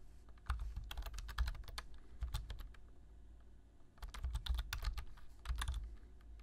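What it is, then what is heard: Plastic computer keyboard. Fingertips tap the keys of a black plastic low-profile computer keyboard while typing. Quick clusters of soft, clicky keystrokes sit over a low, dull thump, with a brief lull in the middle before the typing resumes.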